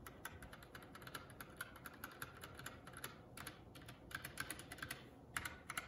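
A Keycool K84 75% mechanical keyboard with plastic keycaps is typed on with both hands, then one index fingertip presses individual keys and the spacebar one at a time. Quick, clacky keystrokes with a bright tone around 1.3 kHz die away almost instantly. A steady low hiss runs underneath.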